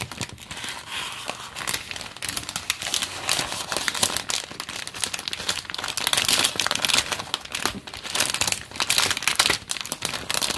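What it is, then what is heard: Plastic polybag crinkled. A small sealed, printed plastic-film LEGO polybag for the 30452 Iron Man set, with loose bricks inside, is held in both hands while fingertips grip, flex and rub the film. This produces continuous bright, crisp crinkling with dense rapid crackles that swell louder toward the middle and end of the clip, with almost no low end.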